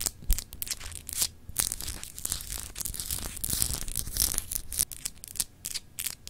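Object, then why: Glass globe paperweight. Long acrylic nails scratch across a palm-sized solid glass globe paperweight etched with grid lines. Dense, bright, gritty scraping comes in quick irregular bursts with short pauses between strokes, over a soft low rumble.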